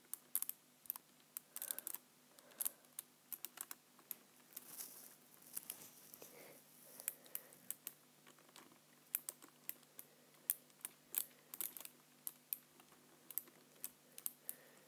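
A hand rests on a black plastic computer keyboard while the fingertips tap and type on its keys. Quiet, sharp, bright clicks come in uneven bursts over a faint steady hum, with a brief soft rustle partway through.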